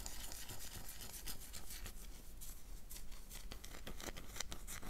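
A solid oval black bar soap, held in the hand, is scratched with long dark nails, making a quick run of dry, bright scraping strokes. A steady low rumble sits underneath the close, crisp scratching.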